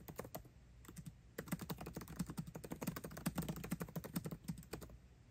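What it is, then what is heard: Laptop keyboard, plastic keys in aluminium body. Fingertips of both hands type fast on a MacBook Pro's built-in keyboard, plastic keycaps over scissor switches in an aluminum laptop body. A scattered opening of soft, dull clicks pauses briefly, then becomes a dense, uneven run of quick, dry keystrokes with a low, muted thock and almost no ring.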